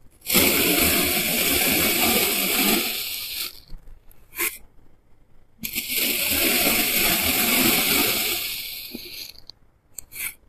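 A clear plastic knife held in the fingers cuts and scrapes thin slices off a solid, rounded block of green kinetic sand on a white surface, and the slices crumble into a pile. Two long, steady, bright gritty scrapes of about three seconds each are heard, and each is followed by a few brief soft ticks and crumbles.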